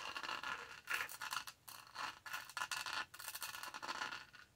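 Long nails scratch across the bumpy top of the lid and the upper rim of a purple textured plastic tumbler, its lid and straw in place. The result is a series of quiet, dry, rasping scratch strokes that swell and fade. The scratching is bright and gritty, centered around 1.7 kHz, with almost no low end.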